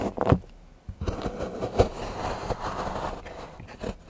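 A large steel knife shaves and scrapes curls from the edge of a solid milk chocolate bar held by fingertips on a patterned board. A sharp knock near the start gives way to a steady, dull scraping rasp with a few louder strokes, mostly low and mid in tone with little brightness.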